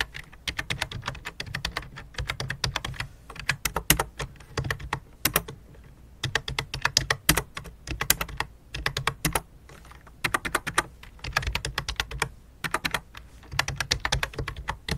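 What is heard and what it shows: Fingertips tap quickly on the keys of a full-size white and light-blue plastic computer keyboard with a hollow plastic body. Bursts of sharp, bright clicks with almost no ring come in runs separated by short pauses, over a steady low hum.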